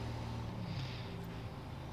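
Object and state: Nothing is struck.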